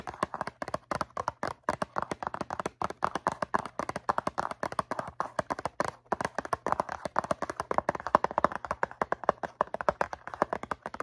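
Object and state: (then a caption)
Cardboard box of cotton swabs. Long nails tap rapidly and continuously across the faces of a medium-size, hollow blue cardboard Q-tips box filled with cotton swabs. Each tap is a short, dry, mid-pitched click centered around 1 kHz that dies away almost instantly, with little low end. A faint steady low hum runs underneath.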